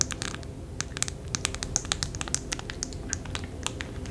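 A press-on nail package, a clear plastic tray on a blue card held in the hand, is tapped rapidly with long fake nails. The result is a quick, uneven run of sharp, bright plastic clicks that die away instantly, over a faint low rumble.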